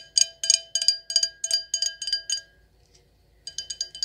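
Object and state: Wine glass tapped with nails.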